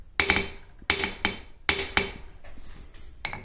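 A wooden-handled ball-peen hammer knocks the upright side of a white-painted, welded steel CNC bracket, about 30 cm tall, resting on a workbench; the bracket has been cavity-filled with grout so it is solid rather than hollow. Each knock gives a sharp, bright metallic clink with a tone near 2.3 kHz and little low end. The ring dies away quickly after every strike.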